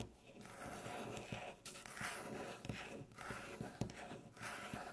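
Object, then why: Wooden tabletop. Long natural fingernails slowly tap and scratch a solid, light-colored flat wooden tabletop. Soft, breathy scratching fills the clip, broken by light, dull taps at an uneven pace, all at a quiet level.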